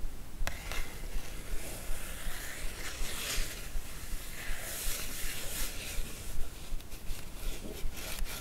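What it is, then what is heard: Glossy paper magazine being scratched. Long acrylic nails scratch and rub the cover of a thin glossy paper magazine lying flat on fabric. A steady, dry rasping hiss pulses in quick strokes, with a soft low rumble underneath.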